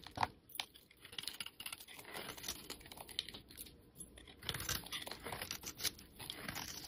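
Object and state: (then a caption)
Soap bar being scraped. A metal utility-knife blade scrapes and shaves powdery flakes off the surface of a solid yellow bar of soap held in the hand. The result is a quiet, dense run of bright, crisp scraping and crackling strokes with almost no low end and no ring after each cut.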